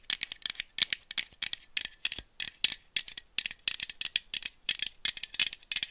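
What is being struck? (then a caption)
Small aluminum drink bottle with screw cap. A small aluminum iced-coffee bottle with a screw cap, held in one hand, is tapped with long nails while being shaken, giving a rattling sound. About thirty quick, dry, bright clicks come in irregular bursts, with almost no low end and a main pitch near 3.6 kHz.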